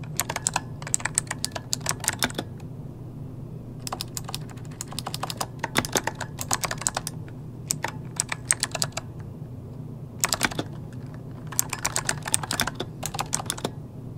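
Both hands type rapidly with their fingertips on an RGB-lit plastic mechanical computer keyboard with hollow key switches, resting on a desk. Bursts of sharp, bright key clicks come in quick runs separated by short pauses, over a steady low hum.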